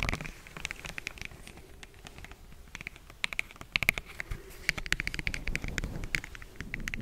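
A medium orange plastic jar with a black lid and a printed barcode label, apparently closed, is held over a fluffy microphone and tapped and scratched with fingertips and nails, with rings worn on the fingers. Quick, sharp clicking taps with a bright ring around 2.3 kHz come in irregular bursts over soft scratchy rustling and a low rumble.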